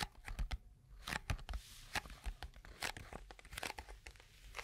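A small, hollow, closed white-and-pink cardboard box, held in the hands, is handled and scratched or tapped with long acrylic nails. Quiet, crinkly, paper-like scratches and taps come in quick, dry bursts with bright edges and a soft low thump underneath.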